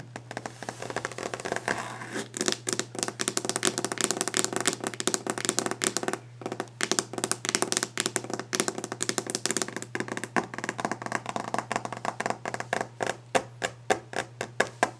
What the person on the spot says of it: Fast/Aggressive Tapping and Scratching a Wooden Desk